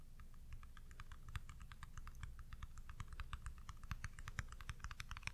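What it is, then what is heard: Plastic pudding cup. A small round white plastic pudding cup with a lid, its contents unseen, is held in the hand and tapped and scratched with long pink nails. A quick, steady stream of light, dry plastic clicks and ticks, sharp and bright with almost no ring, sits over a soft low rumble.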